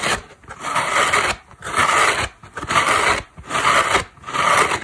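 A large, rectangular, dry orange-yellow synthetic foam car sponge with a cotton cord, a solid porous block held in one hand, is scratched across its surface and edges with long black acrylic nails. Six rasping, brushy strokes sound in a loose rhythm, each a dry, bright scratch with a mid-range hiss, separated by short pauses.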